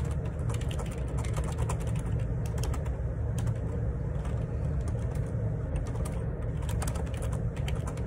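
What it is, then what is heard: Plastic split keyboard being typed on. Fingertips type in repeated key presses on a black plastic Perixx Periboard 612 wireless Bluetooth dual ergonomic split keyboard, its hollow housing and plastic keycaps resting on a desk. Rapid, continuous clicky taps sit over a steady low hum that carries most of the energy, with bright key clicks spiking through.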